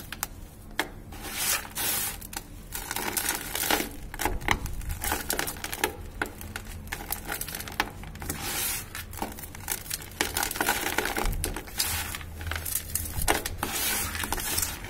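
One hand holds a clump of dry grey cement while the fingers of the other crush and rub the dry cement powder and lumps in a bucket. The sound is a steady, dry, gritty crumbling with bright, crinkly bursts of scraping and soft crackles that come and go throughout, over a faint low rumble.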